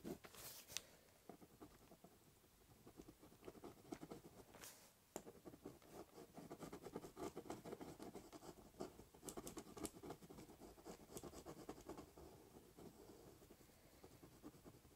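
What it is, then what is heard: Cardboard box scratched with a pen. The tip of a ballpoint pen scribbles, cross-hatches and doodles across a large, hollow, brown corrugated cardboard box. The result is a quiet, steady stream of rapid, dry scratching and pattering strokes, with a hollow mid-range body and occasional brighter, sharper scrapes.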